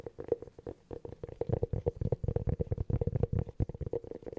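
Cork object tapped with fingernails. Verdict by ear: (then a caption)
Hollow. Fingernails tap rapidly on a hollow cork object, producing a quick, uneven series of soft, dry clicks. Each tap carries a hollow tone around 470 Hz over a low, muffled thud, with almost no ring between strikes.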